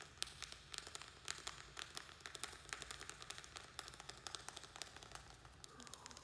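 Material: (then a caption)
Plastic. A small square black plastic plant pot, filled with soil and a string-of-pearls plant, is held in the hands and quickly tapped and scratched with fingernails. The result is a rapid, uneven run of dry, bright clicks with very short ring, over a soft, steady scratching hiss.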